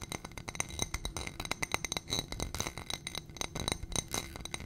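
A small ribbed glass dish on a gold stem, holding white contents, is tapped and scratched with long painted nails. The result is a fast, dense run of sharp glassy clicks and taps with bright ringing tones near 2 kHz and higher. Short scratchy rasps sound between the taps.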